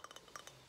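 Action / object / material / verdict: tap / small glazed ceramic tile / ceramic / none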